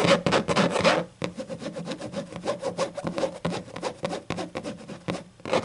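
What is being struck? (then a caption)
Hardcover book with textured leatherette cover. Long acrylic nails scratch the black textured leatherette cover of a closed, thick hardcover book with a sticker on it. Rapid, dry rasping strokes come in a loud burst for the first second, then settle into steady, quieter scratching before swelling again at the end.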